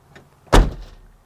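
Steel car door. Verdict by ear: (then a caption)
Solid. The steel door of a 1986 Yugo GV is shut once, giving a single solid, low-pitched thud followed by a brief rattle. The door sounds solid apart from that rattle.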